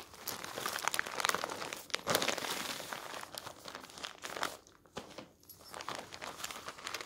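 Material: Paper.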